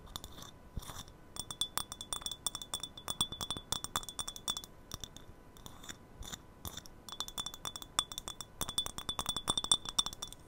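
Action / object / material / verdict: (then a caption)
tap / small glass tea cup / glass / none. Long nails tap a small, empty, hollow glass tea cup, clear or patterned, held close to the microphone, in quick irregular runs of light clinks. Each tap is short and bright, with a thin ring near 3.5 kHz that dies almost at once and very little low end.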